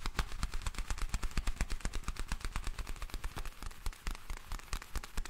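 Black leather gloves worn on both hands are rubbed together while the fingers stretch, making the leather creak. A rapid, uneven stream of sharp, dry crackles and clicks runs throughout, each snapping off quickly over a deep, muffled low end with bright crisp edges.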